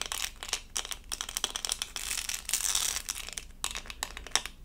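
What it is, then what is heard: Plastic rhinestone sticker. A small, thin, flat doll-shaped diamond-painting sticker covered in tiny plastic acrylic rhinestones is held up in both hands and tapped and scratched with long purple acrylic nails. Quick, dry, bright clicks and crinkly scratching rasps cluster mostly in the high range with little low end. The hits overlap in dense runs, with a steadier scratching stretch in the middle.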